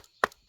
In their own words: plastic is pretty thick. It's not squeaking. It looks solid. It sounds solid. So, it's not a cheap toy.